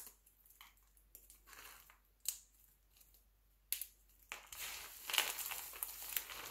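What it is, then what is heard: Glycerin soap flakes. Two hands squeeze, crush and rub handfuls from a pile of mixed-color glycerin soap shavings. Quiet, bright crinkly crunching comes in short bursts with a few sharp crackles. It then builds into a denser, louder continuous rustle near the end.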